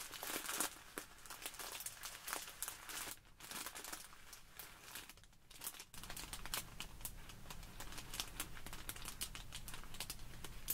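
A small clear plastic bag full of tiny white polystyrene foam beads is pressed, squeezed and scratched by both hands with long nails. The result is dense, bright crinkling and crackling with sharp scratchy clicks, a brief quieter stretch around the middle, and a steady low rumble underneath in the second half.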